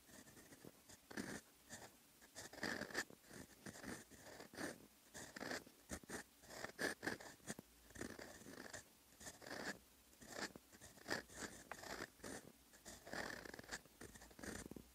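A fountain pen's steel nib scratches across a sheet of lined writing paper while writing in brown ink. Quiet, dry, scratchy strokes come in short bursts with brief pauses, carrying a faint squeaky tone near 1.7 kHz and a bright, papery hiss.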